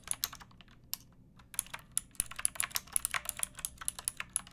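Long painted nails and fingertips type on a pink, backlit, typewriter-style mechanical keyboard with round plastic keycaps and a hollow plastic case. It makes an uneven run of bright, dry plastic clicks and clacks with little low end, briefly thinning out near the first second before picking back up. Each keystroke stops almost instantly, with no ring.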